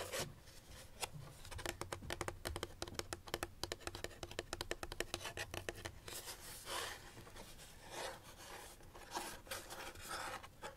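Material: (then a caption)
Cardboard. Fingernails tap rapidly on the side and corner of a small, hollow white paperboard box held in the hands. Dozens of short, dry clicks with a hollow, papery knock come in quick runs, then give way to softer scratching and rubbing toward the end. The sound is quiet and close, with little ring after each tap.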